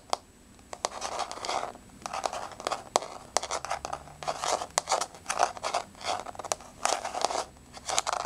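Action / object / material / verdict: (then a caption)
scrape / wood-look laminate floor / laminate / none. Long nails on spread fingers scratch and tap across a flat, solid wood-look laminate floor with a wood-grain surface. The result is a run of dry, rasping scratch bursts, centered in the midrange with a bright crackly edge, broken up by sharp, quick taps that die away almost instantly.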